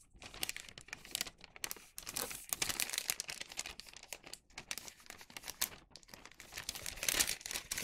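A hollow bag of thin wax paper is creased and flattened with fingertips and palms. It gives a steady run of dense, bright crinkling with many quick, sharp crackles and little low end.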